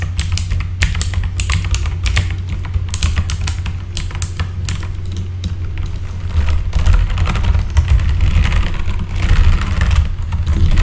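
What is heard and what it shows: Fast fingertip typing on a full-size RGB backlit mechanical keyboard with plastic keycaps produces a rapid, irregular stream of sharp, bright key clicks. A steady deep low hum sits beneath the typing, and the clatter grows louder and denser toward the end.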